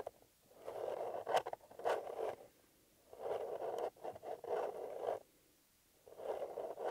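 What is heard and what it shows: A small, hollow, empty blue paper-covered EMTEC cardboard box has its lid lifted briefly and closed, then fingertips and nails scratch and tap across the lid. The result is dry, papery scratching in bursts centered in the low-mid range, with a few sharp taps and short quiet gaps between passes.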